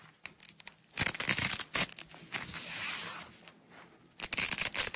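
A small coiled roll of yellow nylon hook-and-loop (Velcro) strap is peeled apart and pressed together by fingertips with long acrylic nails. Soft crackles and light taps give way to bright, ripping tears around 1–2 s and again near the end, with a smoother, hissy peel in between. The sound is mostly high and crisp, with very little low end.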